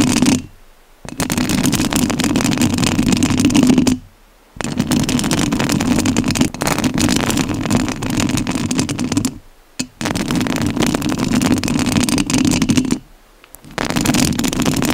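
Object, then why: Metal mesh microphone grille. Long nails scratch the metal mesh grille of a rhinestone-covered studio microphone. Close, dense, crackly scratching with a strong low-mid rumble runs in long stretches, broken by four brief silent pauses.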